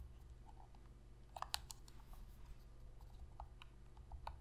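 Long fingernails tap on the top surface and buttons of a black PlayStation controller made of hollow plastic. Soft, sharp, bright clicks come in a loose scatter over a steady low hum, with a cluster of sharper taps in the middle. Each click stops dead with no ring.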